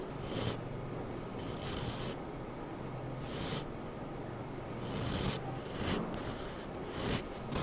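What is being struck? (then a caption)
Charcoal pencil on drawing paper. A sharpened wooden charcoal pencil, held by hand, draws fine hatching strokes across a flat white sheet of drawing paper. Bursts of dry, bright scratching rasp against the paper between quieter stretches, over a steady low hum.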